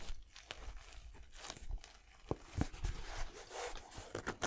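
Fingernails scratch and tap on the textured rubber/foam sole and mesh-and-suede upper of one empty pastel Yeezy 700 sneaker as it is turned over. Soft, dry scratching and crinkly rustling fill the clip, with a few sharper, dull taps standing out.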